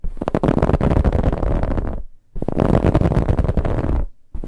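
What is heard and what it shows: Fingernails scratch a soft brown, finely ribbed fabric pillow. They make a rough, low, rumbling scrape with fast fibrous ticks. Two sustained scratching bursts of about two seconds each are separated by a brief pause, and a third burst starts at the end.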